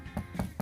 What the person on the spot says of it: I'm tapping on the plastic here and all of this is plastic